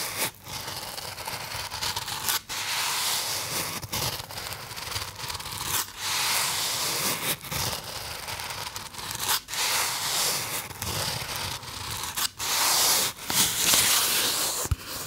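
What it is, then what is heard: Polystyrene foam box. A small white polystyrene foam box is held in the hand while fingertips rub and scratch across the foam. The result is a continuous bright, squeaky scraping with brief pauses between strokes, carrying mostly high frequencies and little low end.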